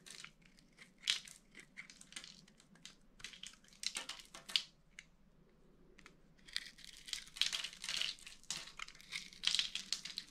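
A utility-knife blade scrapes and crumbles pre-scored cubes off the surface of a solid, dry purple soap bar held in the hand. Dense, crisp crunching and crumbling bursts come in quick clusters, bright and high with almost no low end. Each burst cuts off almost at once, with a quieter gap near the middle before the crunching picks up again.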